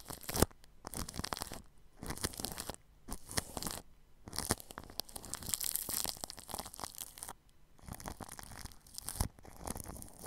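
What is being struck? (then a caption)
Plastic cling film brushed with bristles. A red-handled paintbrush sweeps and scratches its bristles across clear plastic cling film wrapped over a spherical microphone's metal mesh grille, at the grille edge. Close, crinkly, crunchy scratching comes in bright, dense bursts, broken by brief quiet gaps.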